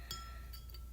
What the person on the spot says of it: nice little tapping noises. It's glass. It's not plastic